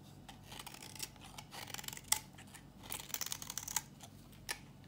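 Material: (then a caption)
Soap. A metal box-cutter blade scrapes a thinning, solid, dry yellow bar soap held in the hand, shaving it into crunchy flakes. Irregular bursts of bright, dry scraping and crackling are punctuated by a few sharp, louder snaps, with almost no low end and no ring after each stroke.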